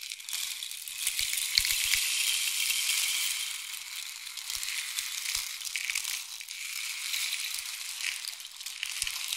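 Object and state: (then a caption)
Wooden rain stick. A long, hollow, painted wooden or bamboo rain stick is held near the ear with fingertips gripping the tube and tilted so the pellets inside pour through it. A steady, bright, hissing cascade swells and fades like falling rain, with faint soft taps from the grip.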